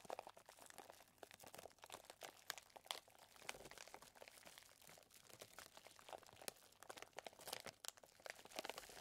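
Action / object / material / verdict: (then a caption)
shake / plastic zip bag of chocolate chips / plastic / none. Fingertips squeeze and press a clear plastic zip bag full of small chocolate chips. Quiet, bright crinkles and crunches crackle in quick, irregular bursts, with almost no low end and each snap dying away at once.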